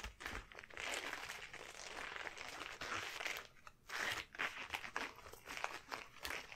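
A pair of long, shiny yellow rubber household gloves worn on both hands is rubbed palm to palm and finger to finger and stretched up close. The result is a steady, bright rubbery crinkling and squeaking, with short sharp crackles and brief pauses near the four-second mark.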